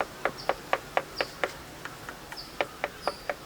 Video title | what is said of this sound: Mud Plastering Experiments and Tests at Sacred Groves - Auroville | if it's not applied properly also you can hear the hollow sound